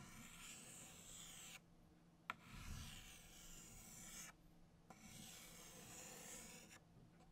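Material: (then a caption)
Chalk. A stick of orange chalk held in the fingers traces circles on a flat black chalkboard in three continuous scratching strokes, separated by brief pauses. Each stroke is a bright, raspy hiss, and the second and third begin with a sharp tick as the chalk meets the board.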